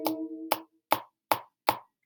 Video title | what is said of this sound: Standing Waves Guided Notes | if you flick it you hear that that's a very low pitch a very very low tone that's its natural frequency